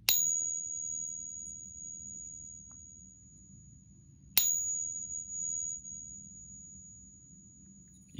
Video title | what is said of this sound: High Purity - Ping Test - Rounds and Coins | it's made of copper and zinc and listen to how long this resonance goes for